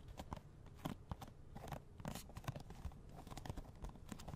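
A small, hollow cardboard box of latex gloves, with the gloves still inside, is held close to a microphone and tapped with fingernails. It gives a quiet, rapid, irregular run of short, dull, hollow taps with a low, boomy body and little brightness, each dying away almost at once.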